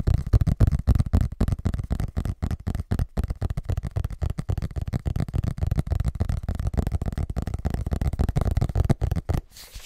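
Fingertips tap and scratch with quick movements on the cardboard cover of a large, closed, solid hardcover paper book with a parchment-style cover. The result is a rapid, uneven patter of short, dull, low thuds mixed with soft scratching, and it trails off quietly at the end.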